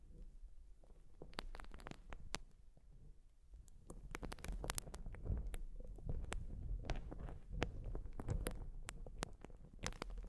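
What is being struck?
Urethane foam sponge.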